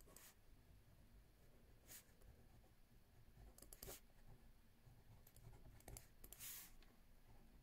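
A left hand with green nails writes with a ballpoint pen on a lined paper notebook pad resting on a wooden table. Quiet, bright scratching strokes of the pen on paper come in short bursts over a low, steady background hum.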